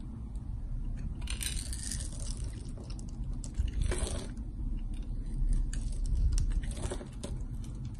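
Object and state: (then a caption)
Soap bar being carved. A palm-sized solid rectangular bar of green soap with white stripes, held in one hand, is scraped and carved with a metal box-cutter blade, and the shavings fall onto the table. Quick, uneven bright scratching strokes sit over a steady low rumble throughout.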